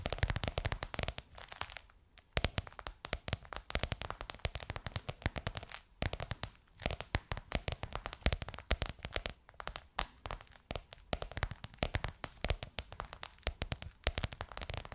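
Long nails tap and scratch across a bronze-gold crocodile-embossed faux leather cover stretched over a curved hollow form. The result is a rapid, dense stream of short, dry clicks and scratchy crinkles with a low hollow thump beneath and bright edges, broken by brief pauses around 2 and 6 seconds.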